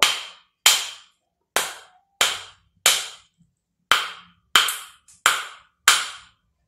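A car key taps the side of a dry coconut nine times, each tap a short, dull knock that dies away quickly, as if something were cushioning the impact. The coconut is spoiled, cracked and empty of water, so it sounds different from a full one.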